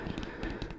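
Fingertips tap five times on the cover of a children's cardboard board book about a jungle adventure. The taps are soft, dull thuds with most energy in the low range. Each dies away quickly with no ring.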